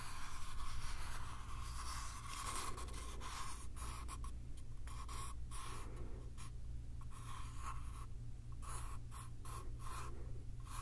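Fingertips and nails scratch the surface of a small, hollow, light-wood box with a pale paper-covered lid panel, held close in both hands. Quiet, continuous dry scratching and rubbing runs over a steady low hum, with brief pauses between strokes.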